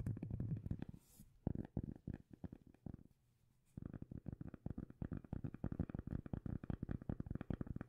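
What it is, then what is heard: Cork lid, tapped and scratched. A round cork lid, held in both hands close to the camera, is scratched and tapped by long nails. Deep, muffled thumps with soft scratching come in quick bursts, then stop for a near-silent pause. A steady run of rapid, dull taps follows to the end.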